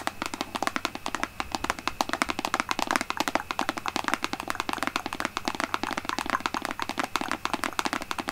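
Long nails tap quickly over the front and sides of a large, apparently full, white plastic Aveeno lotion pump bottle held in both hands. Dense, steady streams of short, dry plastic clicks have a hollow midrange knock and a bright edge. Each tap dies away at once with no ring.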